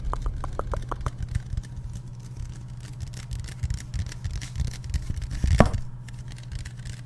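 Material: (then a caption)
Aluminum. Fingertips and nails tap and scratch along the body and bottom rim of a Liquid Death aluminum drink can, likely sealed and full. A quick run of short, dull taps opens the clip, followed by softer scratching and scattered taps over a steady low hum. A louder, brighter tap lands near the end before things settle again.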